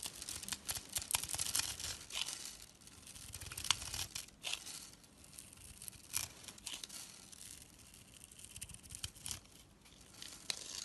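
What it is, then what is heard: Soap bar being carved. A blade cuts into a rectangular solid purple soap bar, scored in a grid and held in the palm, flicking off small soap cubes. The sound is quiet, crisp, high-pitched scraping and crackling, with many short sharp snaps as the cubes break away.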